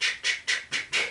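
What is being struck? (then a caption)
Dried cocoon leg rattles with pebbles inside. A string of Yaqui deer-dancer leg rattles, made from desert cocoons from Sonora with little pebbles inside, is shaken in a steady rhythm. Five evenly spaced, bright, hissing rattle bursts are heard, each fading quickly before the next.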